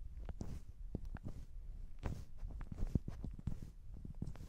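Long decorated acrylic nails scratch and press the glittery top of a palm-sized soft polyurethane foam hamburger squishy toy resting on the microphones. The result is a quiet, close series of soft, deep, muffled thumps and rustling scratches with quick bright ticks, each dying away almost at once.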